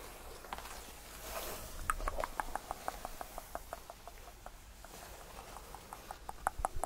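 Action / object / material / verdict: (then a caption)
tap / padded faux leather bench / faux leather / none. Fingertips tap and flat hands brush across the surface of a cream faux leather tufted, padded bench. A soft, airy brushing swell gives way to a quick, uneven run of light, dull taps with a faint mid-pitched click. Each tap dies away almost at once.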